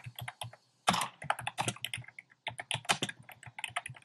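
A compact plastic mechanical keyboard with a black plastic case and round pastel plastic keycaps is typed on with fingertips. Quick, bright clacking keystrokes come in bursts, with a louder cluster near the start of the second second and short pauses in between. Each keystroke has a low thock under a sharp high click.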